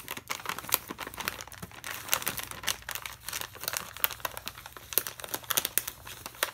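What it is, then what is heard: Plastic snack bag. A full plastic foil bag of Navratan mixture snack is held in one hand and scratched and tapped with a metal pen tip. A rapid string of sharp, bright crinkles and ticks rises over a soft, steady rustle, each click dying away almost instantly.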